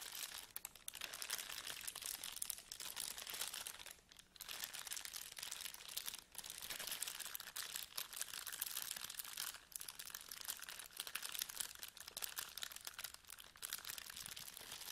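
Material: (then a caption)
Plastic. Fingertips of both hands rub and crinkle a thin, mostly empty clear plastic bag lying flat on a table. The result is a steady, dense, bright crinkling with almost no low end, broken only by a few brief quieter dips.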